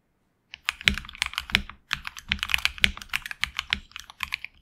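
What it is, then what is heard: Mechanical keyboard with plastic keycaps. Fingertips of both hands type on a HyperX Alloy Origins Core tenkeyless mechanical keyboard with HX Red switches, PBT plastic keycaps on an aluminum plate and a hollow case. After half a second of silence comes a rapid run of short, bright, clacky keystrokes with almost no ring, then a brief pause near the two-second mark before the typing resumes.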